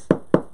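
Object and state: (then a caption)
Stiff PVC-lined tweed fabric that knocks like a box. Two dull, short knocks on a box, compared against a heavy tweed shoulder bag lined with PVC. Each knock is a brief wooden-sounding tap with a low-mid thud and almost no ring. The stiff PVC-lined tweed knocks like the box, pretty much the same stiff material.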